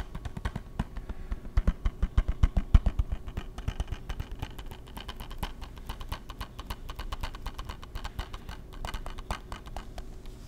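A closed, hollow hard-plastic PS3 game case is held in the hands and tapped and scratched with fingertips and nails. Rapid, dense clicky taps with a dull, low body come in an uneven patter, loudest in a burst early on before settling into softer, scratchier tapping that continues to the end.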